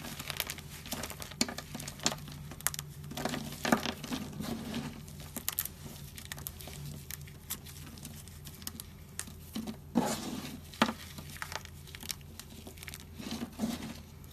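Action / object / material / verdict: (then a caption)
scrape / bar soap chunks / soap / none. Two hands squeeze and crumble solid, brittle chunks of dried pink and white bar soap, mixed with lots of soap powder, on a white surface, then fingertips rake through the pile at the end. Dense dry crackling and crunching runs throughout, with sharp brittle snaps and short bursts of gritty rubbing over a steady low hum. The chunks break down into crumbs and powder.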